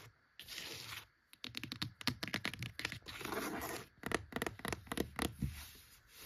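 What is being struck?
Cloth-bound hardcover book.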